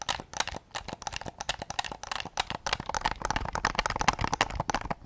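A white, hollow, hard-plastic PS5 DualSense controller is tapped with fingertips close to the mic, then raised to show its back. A rapid, uneven run of short, dry plastic clicks and taps follows, each dying out almost at once, with a hollow knock around 840 Hz and bright clicky edges.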